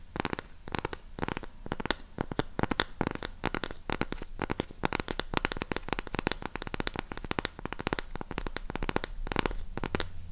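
Long pink acrylic nails tap and scratch the flat surface and rim of a thick, solid, palm-sized round cork coaster block held next to a mini retro microphone. The result is a steady stream of quick, dry, muffled taps with a low, soft thud and very little ring, mixed with rough scratching.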